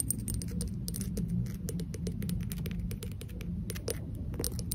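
A small, hollow, empty unglazed pink ceramic vase with a sculpted face and a narrow opening is held in hand and tapped rapidly with long acrylic nails. The taps are quick, bright, dry clicks that stop almost at once, laid over a steady low rumble that fills the clip.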